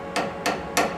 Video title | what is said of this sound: Boring - How To Get better Results Day One | sounds nice and rigid